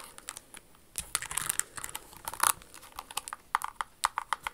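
Long acrylic nails scratch and tap a pink rhinestone-covered crystal stiletto pump, working over both the rhinestones and its leather sole while the shoe is turned over. Quick, dry clicks and scratchy rustles come in uneven bursts, with a few brighter, louder scrapes in the middle. The sound is thin and high with almost no low end.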